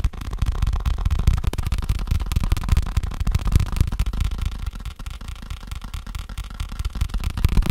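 Fingertips rapidly tap on a faux leather case. The taps are soft, dull and low, with almost no ring. They run together in a fast, uneven patter for the whole clip.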